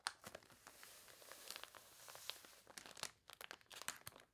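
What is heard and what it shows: Fingernails rub and scratch across the wavy pages of a water-warped paper toy catalog, making bright, crisp crinkling and crunchy scraping with short sharp ticks. A page is then lifted and turned, adding a louder papery rustle before the quiet scratching resumes.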